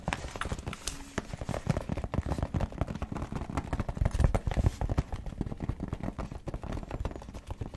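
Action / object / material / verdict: tap / faux leather zip pouch / faux leather / none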